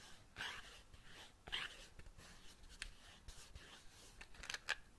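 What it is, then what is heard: Cardboard matchbox. A small, closed, patterned cardboard matchbox is held in one hand and tapped with the fingertip and nail of the other hand. The result is a series of quiet, dry, bright taps and light scratchy clicks that stop at once with no ring, over a soft rustling background.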